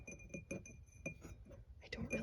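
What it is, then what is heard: Glass votive candle holder. A snowman votive candle holder made of glass, taken from a bookshelf, is tapped lightly in a quick series. Each tap gives a short, bright clink with thin high ringing tones that fade within a fraction of a second.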